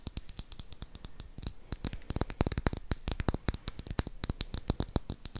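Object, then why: Square glass bottle tapped with fingernails. Long acrylic nails tap rapidly on a hollow, empty, faceted square clear glass bottle. The result is a dense run of short, sharp clicks with a faint high glassy ring that dies away almost at once.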